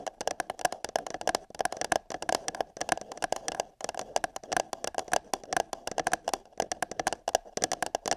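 Long nails scratch and tap the wall of an empty, hollow printed paper cup held over a binaural microphone ear. Dense, rapid, crisp taps and scratchy rasps carry a hollow resonance around 700 Hz with bright, crackly edges, broken by brief pauses. Each tap dies away almost instantly.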